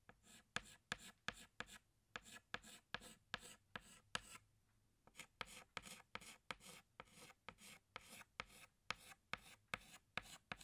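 A pink chalk stick is rubbed along drawn lines on a flat black chalkboard in short strokes, making about 28 quick, bright scratchy rasps with a brief pause partway through. Each stroke is dry and high-pitched with almost no ring, and the low end stays thin.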